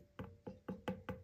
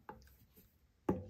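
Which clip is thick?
The second.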